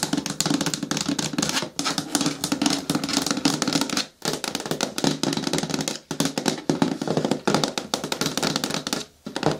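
Long nails tap rapidly on the sides of a hollow, medium-hard green plastic bin with a lid. They make dense runs of quick, dry clicks over a low hollow tone, with brief pauses between bursts. Each tap dies away almost at once.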